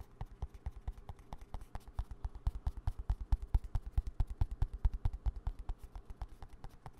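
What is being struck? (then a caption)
Plastic hand cream tube. Fingertips and nails tap quickly on the body of a small green plastic hand cream squeeze tube held at an angle. The result is a rapid, slightly uneven run of soft, dry, hollow taps, mostly low and dull, each dying away almost instantly.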